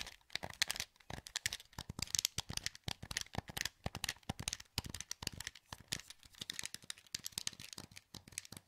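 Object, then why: Plastic game controller. Thumbs rapidly click the buttons of a hollow, translucent green plastic PS2 wireless controller held in both hands. Dense, bright, sharp plastic clicks come in quick overlapping bursts with almost no ring, at a low, steady level.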